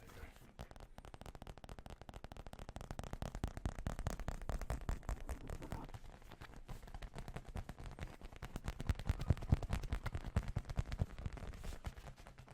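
Fast, dense tapping on a whale figure from an old gaming cafe, made mostly of leather with a felt detail. The tapping starts far away, grows louder and closer, then eases slightly near the end. Each tap is a dull, low thud that dies away almost at once.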